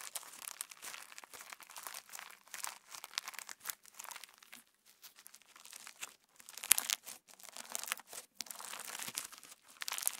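A handful of pink translucent PVA slime packed with plastic star sequins is pinched, folded and squeezed with the fingertips close to the mic. It gives a quiet, dense, bright crackle and crinkle with almost no low end. The crackling comes in irregular bursts with brief pauses between them.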